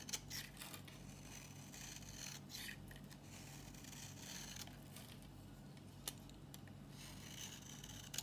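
An old, dry, solid green Nishan soap bar, held in the palm, is shaved with a metal box-cutter blade into powdery curls. A soft, steady dry scraping runs throughout, bright and crisp in the highs over a low hum, with a few sharper clicks and ticks as the blade catches.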